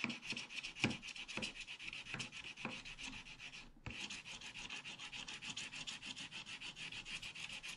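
Fingertips rub back and forth over a partly scratched, black-coated scratch-art paper page in a scratch-art book lying flat, brushing off flakes of coating. The result is a quiet, rapid, rhythmic papery swishing with a bright, hissy texture and a few softer thumps. The strokes break off briefly just before the four-second mark, then resume steadily.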